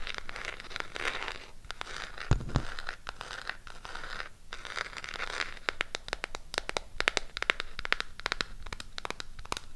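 Long pink acrylic nails tap and scratch a closed burgundy Harry Potter SHEGLAM eyeshadow palette in a cardboard case. Stretches of bright, papery scratching alternate with many rapid, dry clicking taps. Each tap is sharp and dies away instantly with no ring.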